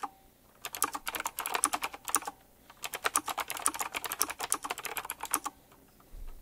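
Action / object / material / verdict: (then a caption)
tap / mechanical keyboard with round plastic keycaps / plastic / none. Fingertips type quickly on a full-size typewriter-style mechanical keyboard with round black plastic keycaps, chrome-look rims and a metallic frame. Two rapid bursts of crisp, bright clacks are heard, separated by a short pause. Each keystroke is sharp and dies away almost instantly.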